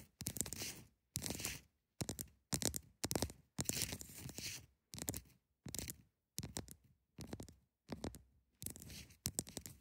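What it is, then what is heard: Ice block scratched. Long nails scratch the edges and sides of a large solid block of ice held at the sides, producing a series of short, crunchy, bright scraping bursts separated by brief silences. The rasping strokes have a grainy, crackling texture with little ring after each one.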